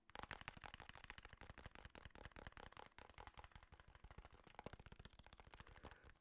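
Fingers tap rapidly and continuously on an original "fat" Nintendo DS, a plastic handheld console with a dented screen and a quite sticky surface. The result is a steady stream of short, dry, hollow plastic clicks with a low thump under each tap.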